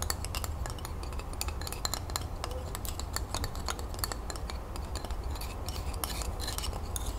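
Long nails rapidly tap and scratch the cut wooden ends of a bundle of twig colored pencils held in the hand. The result is a dense stream of short, dry, high clicks and scrapes with almost no ring, over a steady low rumble.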